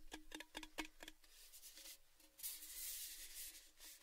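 Fingertips tap the painted surface of a hollow, empty orange metal Baileys gift tin tube, held over the mics and then horizontally. Seven quick, short-ringing taps carry a hollow metallic tone around 312 Hz. They give way to softer taps and then a sustained, bright, hissy rubbing.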